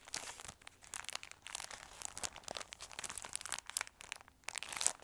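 A square pack of black "Happy Halloween" paper napkins, about 15 cm across, in a clear plastic cellophane wrapper is held in both hands and crinkled and squeezed with fingertips and short nails. The result is a steady run of bright, crackly crinkles and quick sharp snaps with almost no low end, continuing throughout.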